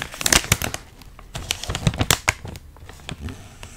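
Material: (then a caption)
Plastic foil. A large, sealed Miss Vickie's potato chip bag made of crinkly foil-lined plastic, puffed with air and full of chips, is pressed, squeezed and rubbed with both hands on a felt mat. Bright, sharp crinkles and crackles of the chips burst in quick clusters, loudest early on, then settle into softer rustling.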